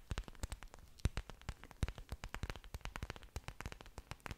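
An orchid plant with several large, thick, waxy green leaves and exposed aerial roots is held close to the microphone while long dark nails scratch and tap the leaf surfaces. The result is a dense run of quiet, sharp, dry clicks and taps. Each one carries a low thump and a bright crackly edge and dies out almost at once.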